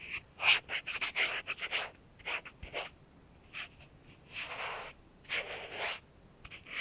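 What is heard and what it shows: A cotton ball held in tweezers by a latex-gloved hand rubs and scrapes around the life-size soft silicone ear and ear canal entrance of a binaural dummy-head microphone. Close, bright, breathy scratching comes in short strokes and longer smeared rubs, with quiet gaps between them.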